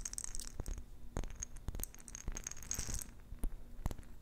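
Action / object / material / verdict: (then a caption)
tap / glass jar with metal lid holding plastic beads / glass / none. Long nails tap quickly on a small round clear glass jar with a silver metal lid, filled with pink plastic beads. The result is a rapid series of short, sharp clicks with bright glassy tones and a low, soft rattle underneath.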